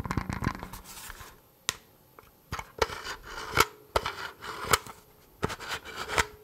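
A hand-sized, tan, hollow polymer rifle magazine that seems empty is held in one hand close to the microphone while the fingertips and short nails of the other hand scratch and tap along its ribbed plastic side. Dry, raspy scratching strokes alternate with sharp, clicky taps that die away almost instantly, with the sound sitting mostly in the mid and bright range.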